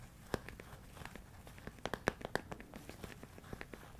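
A medium, hollow, clear plastic storage container full of rice grains, held close to the microphone, is tapped and scratched with fingertips and nails. Irregular dry, crinkly clicks and taps sound over a soft scratching hiss. A few sharper, louder taps stand out in the middle of the clip.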